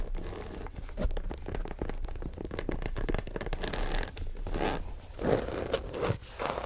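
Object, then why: Faux leather shoulder bag with metal zipper. Long nails scratch and tap along the top and sides of a small black croc-embossed faux leather shoulder bag with metal zipper hardware. The result is a dense run of quick, dry scratches and soft taps, with bursts of rougher scraping and brighter crackle toward the end.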